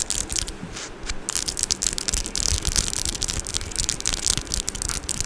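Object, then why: Metal mesh microphone grille. Long orange acrylic nails tap and scratch the metal mesh grille of a Blue Yeti microphone, up close. The result is a dense, continuous crackle of bright scraping and quick clicky taps over a low rumbling thump, with no ring after each stroke.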